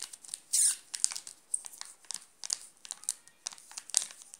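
Fingertips and short nails scratch and press the shiny red-and-blue plastic film wrapper of a sealed Nestlé Classic milk chocolate bar, about 20 cm long, flat and solid, lying on a pink cloth. The wrapper gives off bright, high crinkles and sharp ticks with almost no low end, plus one longer, louder rustling burst early on. Each crackle stops instantly, leaving a quick, dry series of close crinkling sounds.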